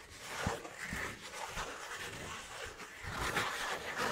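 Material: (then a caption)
Cardboard. A thin, flat, brown piece of cardboard about a hand's length is held in the hand and rubbed and scratched with fingertips and nails. The result is a continuous, dry, papery scraping with a bright hiss and a few soft, low thumps, close and fairly quiet throughout.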